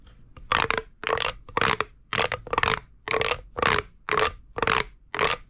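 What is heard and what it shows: A hollow purple corrugated plastic pop tube toy is gripped and crunched in the hand with the thumb and fingers. It gives a series of sharp, bright crackling crunches at a loose, uneven pace, with short quiet gaps between bursts.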